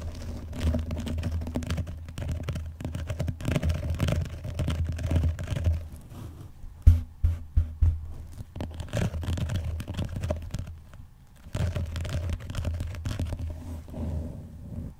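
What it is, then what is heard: Vinyl-covered binder. Fingernails tap quickly and scratch on the cover and front edge of a closed blue vinyl-covered binder lying flat on a box. The result is a dense, dull, low-heavy patter of rapid taps and scrapes, with a few sharper, louder taps near the middle and a brief quieter stretch before the scratching resumes.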